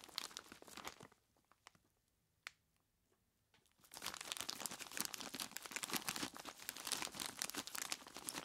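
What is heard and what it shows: Fingertips of both hands squeeze and rub a large clear plastic bag full of ice cubes, crinkling the plastic and crunching the ice in bright, dense bursts. After a second of rustling there is a near-quiet pause with a few faint ticks and one sharp click. At about four seconds, steady, louder crinkling and crunching resumes and continues to the end.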